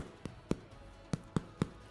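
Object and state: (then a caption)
Hollow-sounding, fully baked bread loaf. A homemade bread loaf, just baked for 35 minutes and taken out of its tin, is tapped on the bottom five times. Each tap is a short, dull, hollow knock that dies away almost at once. The hollow sound shows the loaf is baked through, fluffy and cooked inside.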